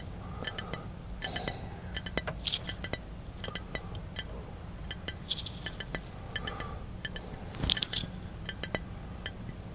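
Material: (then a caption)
Glass. Fingertips tap the body of a small capped glass milk bottle held near the face inside a car. They make quick, bright clinks ringing around 3 kHz in irregular clusters over a steady low rumble, with each tap dying away almost at once.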